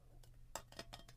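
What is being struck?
Metal ruler.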